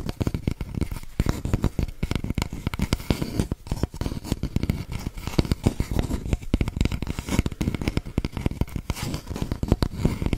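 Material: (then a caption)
Cardboard. An empty, hollow brown cardboard toilet paper tube, about 10 cm long, is held horizontally while long painted nails and fingertips scratch and tap along its surface. The result is a dense run of quick, dry scratches and taps with a soft, low, hollow body and little bright content, each sound dying away almost at once.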